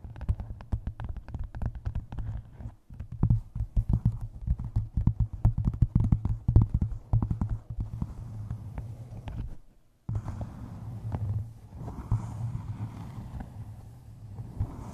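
Long dark nails tap and scratch the cover of a solid, closed hardcover book wrapped in a paper map and resting on a microphone. The result is a dense run of quick, dull, low-pitched taps with short scratchy strokes, almost no brightness and very little ring. The sound breaks off briefly near 3 seconds and again just before 10 seconds.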